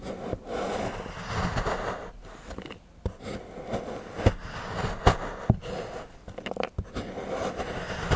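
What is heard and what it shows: A large steel knife shaves and scrapes curls from the edge of a solid milk chocolate bar on a patterned board while fingertips hold the bar. Soft, low, rasping scrapes come in uneven strokes, broken by several sharp clicks and taps.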